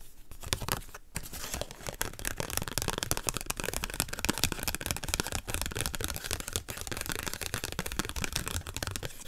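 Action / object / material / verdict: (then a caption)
scrape / paper nail sticker sheet / paper / none. Fingernails scratch and tap across the top edge of a flat pink nail-sticker sheet on a white paper backing, held up in the air. The result is a dense, continuous run of dry, crinkly scratching and quick tapping that spans low thuds to bright, papery hiss for about nine seconds.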